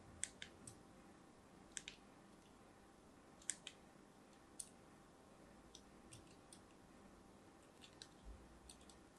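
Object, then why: Bar of solid soap. A thin metal blade scores crosshatch lines into the surface of a palm-sized, pink and white striped solid soap bar held in the hand. About fifteen quiet, sharp, bright clicks and scratches sound at irregular intervals over a low, steady background hiss. Each one is dry and dies out almost instantly.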